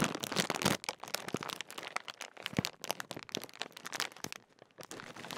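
Fingertips crinkle and unroll the top edge of a large Walkers crisp packet made of thin metallised plastic film, hollow with crisps inside. Dense, bright crackles and sharp crinkles come in quick bursts, loudest at the start, with a brief quieter pause before the rustling picks up again.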